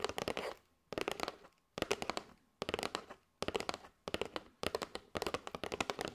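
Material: Cardboard.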